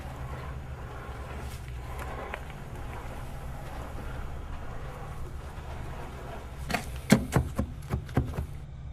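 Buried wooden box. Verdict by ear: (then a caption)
Hollow. A low, steady rumble fills the first six or so seconds while digging uncovers something buried. Then comes a quick series of sharp, hollow knocks with short ring as it is struck. The sound marks it as hollow wood, and it is confirmed to be a buried wooden box with a lid.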